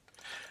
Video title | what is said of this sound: Restoration of the Revolutionary UnMouse | it clicks when I shake it. And when I press it, it doesn't click